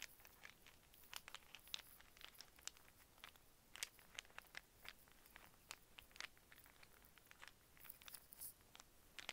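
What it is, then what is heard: Wooden cube puzzle. A small solid wooden snake puzzle of brown and white cubes, folded into a cluster and held in both hands, is tapped and scratched with fingernails. A quick run of faint, bright clicks and dry scratches, each dying away almost at once, sits over a soft hiss with little low end.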